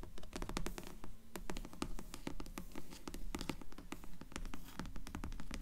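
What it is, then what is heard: Hardcover book tapped and scratched. Long nails tap and scratch the cloth/paper board cover of a solid dark grey hardcover book propped partly open with its cover up. Quick, fairly irregular dry taps mixed with scratching run throughout, each hit short with almost no ring and a dull, low-heavy tone.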